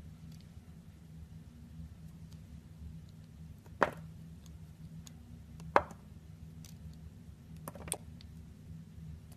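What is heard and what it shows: A utility knife blade cuts and scrapes the edges of a solid, clear glycerin soap bar with colored pompoms embedded inside, held in the palm. A few short, crisp cutting clicks and scrapes rise from a steady low hum, each ending almost instantly with a mid-pitched snap.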